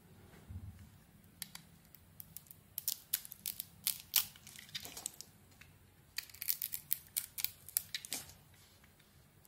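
A solid white Isana soap bar with glitter is held in the hand while a metal blade carves curls from it. The result is a quiet series of short, crisp, bright scraping and cutting sounds, some louder than others, over a faint low background hum.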